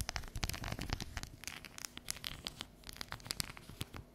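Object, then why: Bar of dark chocolate. Long yellow nails tap and scratch across the segmented surface of a solid, unwrapped dark chocolate bar held and tilted over a counter. Quick, dry clicks mix with bright, crackly scratching, each sound stopping almost instantly with no ring.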